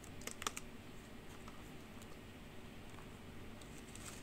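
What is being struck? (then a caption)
Plastic computer keyboard. A black plastic computer keyboard with hollow keys is tapped with the nail of one finger and typed on with long pink nails, while the forearm briefly covers the keys. Quiet, sharp, bright clacks cluster near the start, then softer, sparser taps follow over a steady low rumble.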